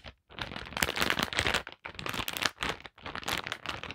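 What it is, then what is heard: Plastic foil zip bag. Long black pointed nails tap and scratch across a flat holographic foil/plastic zip-lock pouch lying on a table, filled with a paper card, wire hoops and small packets. Bright, dense crinkling and crackling come in several bursts separated by brief silences, with little low end and almost no ring after each scrape.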